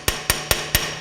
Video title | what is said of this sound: SBC Dipstick Tube | you can hear the sound when it's tapped all the way down